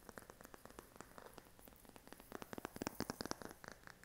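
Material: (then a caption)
Silicone. A smartphone in a pink silicone case is held in the hand and tapped and scratched on its back with short fingernails. The result is a quiet, rapid, irregular run of soft, dull clicks and light scratching that grows a little louder and brighter toward the end.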